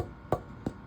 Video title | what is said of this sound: Ukulele Build Day 9. | it wants to resonate, but this is a hard wood. It's denser, so it's not going to resonate very much.